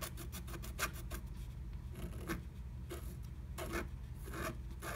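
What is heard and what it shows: A wooden stylus scratches the coating of a flat, black-coated scratch art sheet through a butterfly cutout in a blue plastic stencil laid over it. Short, raspy scratching strokes come in uneven bursts of bright, dry noise over a steady low hum.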